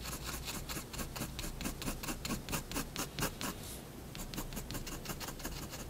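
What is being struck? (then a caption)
Fineliner pen on a paper sheet. A fineliner tip scratches short, repeated hatching strokes for a cat's fur stripes on white drawing paper resting on a wooden desk. Quick, bright, scratchy strokes come in a steady rhythm of about two per second, with a low constant hum underneath. They pause briefly just before the four-second mark and then resume.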